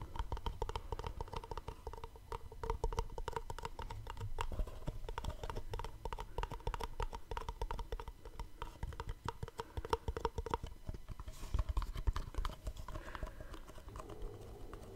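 A small, hollow black cardboard gift box is held close to the mic while fingertips and short nails tap and scratch its top and sides. Quick, dry taps and scratches sound in a steady stream with little ring, their low, hollow body dominating while the box's resonance hums faintly underneath.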